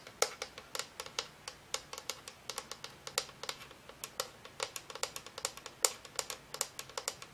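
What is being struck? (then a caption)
Frosted plastic lamp shade and aluminum base. A hollow Homecube color-changing lamp, with a white frosted-plastic shade and a silver aluminum base, is held upright in both hands and tapped and scratched with long acrylic nails on the shade and base. About 37 quick, bright, clicky taps sound in an irregular rhythm, each dying away almost instantly with almost no low end.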